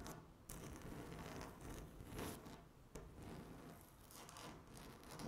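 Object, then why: Laminate tabletop. Long natural nails scratch and tap across a flat, solid speckled laminate tabletop. A steady, quiet rasping scrape swells and fades, broken by a few sharp clicks where the nails strike the hard surface.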